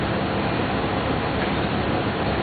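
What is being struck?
Nothing is struck.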